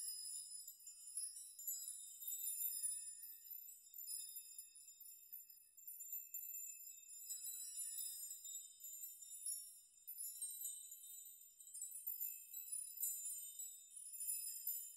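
A hanging chime of metal nails or rods is swept, plucked and rocked by fingers so the rods clink together. The result is a quiet, continuous wash of high, bright tinkling and short ringing tones that overlap for the whole clip, with no low end.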